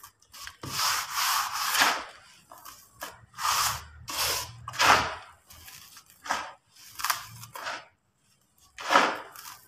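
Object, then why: Sand-cement powder in a tub. Bare hands and fingertips dig into a tub of loose, dry, gritty sand-cement powder, rubbing it, scooping it up and letting it pour and sift back through the fingers. Irregular bursts of bright, grainy hissing and rustling rise and fade with short quiet gaps between them, with almost no low rumble.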